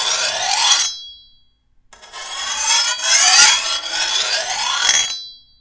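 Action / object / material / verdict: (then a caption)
scrape / steel machete blade / steel / none. A metal file is drawn across the edge of a long, thin steel machete blade held level, with fingertips guiding the file. Two bright, high rasping strokes are heard, a short one and then a longer one after a brief pause, with a thin metallic ring lingering at the end of each.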